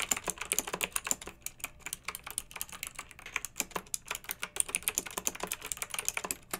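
Long nails and fingertips of both hands type steadily on a pink backlit plastic mechanical keyboard with round plastic keycaps. Quick, bright clicky taps follow one another in a continuous flowing rhythm, each dying away almost instantly with little low end.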